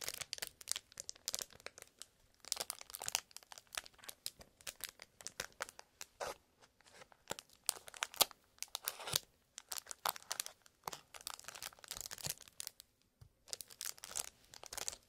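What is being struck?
Cardboard box wrapped in cellophane.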